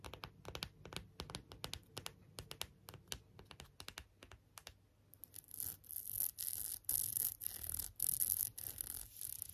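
Long nails tap and scratch a clear plastic phone case with a rhinestone rim, held at an angle, working over the inner and outer plastic surfaces and the rhinestone rim. The first half is a quick run of many short, dry, clicky taps. It then shifts to longer, bright, hissy scratching strokes that sit mostly in the high range over a faint low hum.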